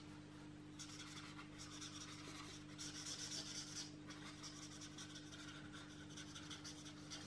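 A felt-tip marker is rubbed back and forth across the page of an open paperback coloring book lying flat on a table, coloring it in while the other hand holds the book flat. Soft, bright, scratchy strokes repeat in quick, uneven bursts, with a louder stretch in the middle, over a faint steady low hum.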